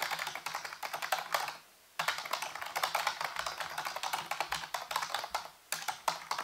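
Fingertips type rapidly on a full-size black plastic keyboard with hollow keys set on a white base, producing a dense stream of bright, sharp clicks that die away quickly. The tapping runs in bursts, with two brief pauses before it resumes.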